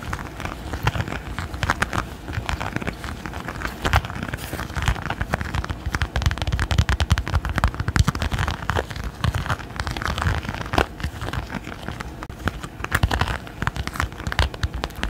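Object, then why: Silicone pot holder with raised dots. A red silicone pot holder with raised dots is held slightly curved in both hands while fingernails scratch and tap quickly across its bumpy surface. The result is a dense, steady stream of fast, dry, crackling taps with a soft low rumble beneath, each tick dying out almost instantly, with brighter clicks poking through now and then.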